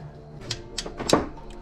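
Someone changing the clutch on a Peugeot 206 knocks on a metal car part that seemed sealed or welded shut. Four short, hollow knocks with bright clicks and a brief ring around 312 Hz sound over a low background hum. The hollow sound suggests there is nothing inside the part.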